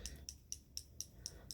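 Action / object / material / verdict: shake / small liquid lipstick bottle with a mixing ball inside / liquid / full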